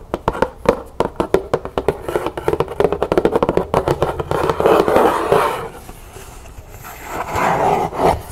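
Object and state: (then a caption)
Cardboard box tapped and scratched. Long nails tap quickly and irregularly on a large, hollow black cardboard gift box with a world-map lid, which is opened and then closed, making short, dry, hollow clicks in the low midrange. The tapping then gives way to rougher, breathy scratching as the nails drag across the lid, fading quieter before a second burst of scratching.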